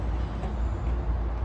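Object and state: Nothing is struck.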